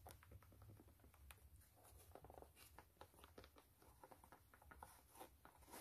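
Long nails scratch and tap across the white canvas upper of a low-top sneaker with metal eyelets. The result is a quiet, rapid patter of soft, short clicks and brushy scratches over a steady low hum.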